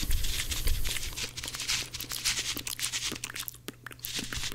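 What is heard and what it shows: Two dry, porous blue cellulose kitchen sponges with a scrubber layer, one held in each hand, are pressed and rubbed against each other with the fingers. This gives fast, irregular bursts of bright, crackly crunching and scratchy friction over a steady low hum.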